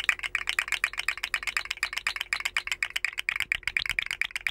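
A rainbow, segmented, hollow plastic articulated slug fidget toy is held by its head, dangled and wiggled. Its jointed segments rattle and click in a dense, uneven stream of short, dry, bright clicks centered in the upper mids, with almost no low end.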